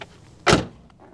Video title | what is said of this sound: The BMW Z3 - Prices are About to Go Through the Roof. | ils ont ce son métallique légèrement old-school quand vous le fermez